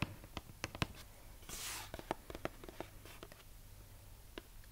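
Long nails tap and scratch the surface of a purple printed cardboard box of brookie baking mix, roughly book-sized, hollow with contents inside. Sharp, dry, irregular taps with almost no ring sit over a low hum, broken by a soft, bright brushing scratch midway through.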